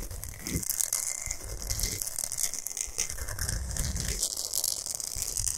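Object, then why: Himalayan salt block. Long nails scratch a large, flat, solid pink Himalayan salt block fast and hard. The result is a steady, gritty rasp with bright, hissy high tones and a dull low rumble underneath, and no clear gaps between strokes.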